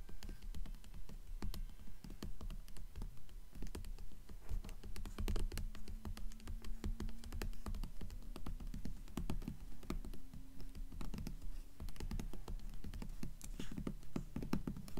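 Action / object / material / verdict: tap / hardcover book with paper dust jacket / paper / none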